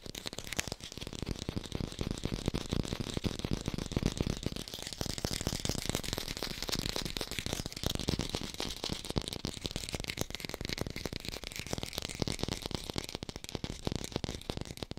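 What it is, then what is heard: Fake apple (artificial fruit). An artificial green apple, held up in one hand, is tapped rapidly with long pink nails. The result is a dense, continuous stream of dry, fast clicks and soft knocks with no ring, carrying a low body and a bright, crisp edge throughout.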